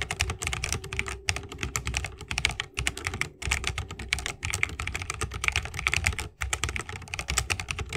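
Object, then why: Mechanical keyboard with plastic keycaps in a wooden case. Fingertips of both hands type fast on an RGB-lit 60% mechanical keyboard with plastic keycaps on Holy Panda tactile switches, set in a solid bamboo wooden case and resting on a wrist rest. A dense, steady stream of short, bright clacks with a low thock underneath is broken by a few brief pauses, and each keystroke dies away almost instantly.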